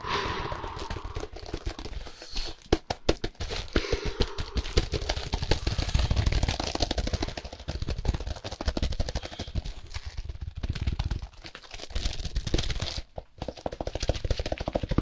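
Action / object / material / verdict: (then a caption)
scrape / compressed hay block in plastic wrap / hay, plastic / none. Gloved fingertips tap and scratch a plastic-wrapped compressed hay block held up in the air while rotating it. The result is a fast, dense stream of dull, low thuds mixed with crinkly plastic scratching, with a few brief quiet gaps along the way.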